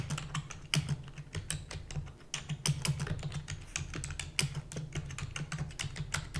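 Rapid typing with fingertips and long natural nails on a full-size black plastic computer keyboard with plastic keys and a hollow housing. It makes a quick, uneven stream of short, bright clicks and clacks with almost no ring, over a steady low hum.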